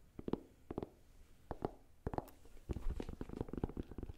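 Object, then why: Sneaker with rubber sole and suede upper. A single hollow, empty blue-and-white low-top sneaker with a white rubber sole and a blue suede or canvas upper is held in both hands while fingertips and nails tap and scratch it, first on the sole and then on the upper. The sound is quiet, soft, dull tapping with short scratchy rustles. It is mostly low and muffled with no bright edge, and each tap dies away almost at once.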